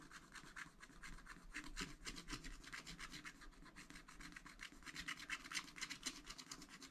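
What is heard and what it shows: A wooden stylus held in the fingers scratches the black wax coating off a thin, solid scratch-art card in a spiral pad lying flat on a table, revealing colour underneath. Quiet, dry, bright rasping comes in repeated short strokes with a steady rhythm, each stroke stopping abruptly with no ring.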